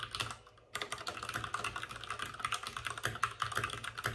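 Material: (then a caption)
Plastic. Both hands rapidly tap with their fingertips on the plastic keycaps of a white, backlit RGB mechanical computer keyboard resting on a desk with a padded wrist rest. Dense, bright clacks sound in quick succession, with a brief pause near the half-second mark. Each keystroke is short and dry, with almost no ring.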